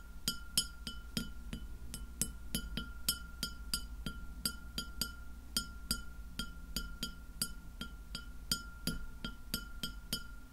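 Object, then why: Glass plate. Long nails tap the surface of a white glass plate lying flat behind the recorder. A steady run of short, bright clicks with quick, glassy ticks sits over a low, constant hum and a faint steady tone.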